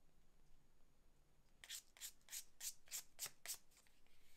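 A small, flat, layered reddish-brown leather card holder is held in one hand while its edge is rubbed with a sanding sponge or block held in the other. After about 1.6 seconds of quiet, seven quick, evenly spaced rasping strokes follow, each a bright, airy scrape.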